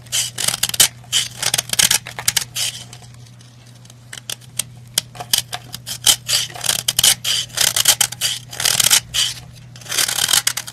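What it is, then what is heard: Powdery bath bomb scraped. A black-handled knife scrapes down a white pressed-powder bath bomb, sending crumbs and powder falling. Quick, bright, crumbly scraping bursts cluster around 3 kHz, pause briefly in a quieter stretch near the middle, then return in dense runs. A faint low hum sits steadily underneath throughout.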